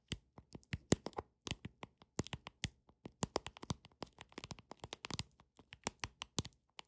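Long nails tap on a deck of paper playing cards in a quick, irregular run of dozens of taps. Each tap is a short, dry click with a bright top and a soft, low thud beneath it. The taps stop almost instantly, with no ring after them.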